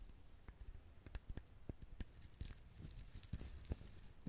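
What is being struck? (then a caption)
Whole husked coconut shell. Fingernails scratch the shell of a whole brown husked coconut close to the recorder. Quiet, dry scratching and short, sharp clicks come in an uneven patter, with a low thud under each stroke and faint bright rasping from the fibrous surface.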